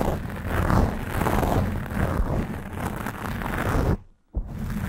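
Long nails scratch and grip the black foam windscreen on a Blue Yeti microphone, partly squeezing the foam. The result is a dense, muffled, low rumbling scrape with rustling texture. It cuts out briefly to near silence just after four seconds, then resumes.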